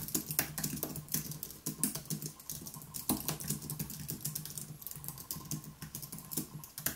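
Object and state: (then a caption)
Low-profile keyboard being typed on. Both hands tap rapidly with their fingertips on a white Apple Magic Keyboard, an aluminium keyboard with plastic keys, resting on a wooden desk. The result is a dense, uneven stream of short, bright key clicks that die away quickly, over a faint steady low hum.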